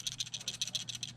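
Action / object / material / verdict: shake / plastic extendable camera pole / plastic / loose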